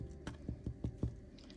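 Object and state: Baked-through stollen, sounds hollow.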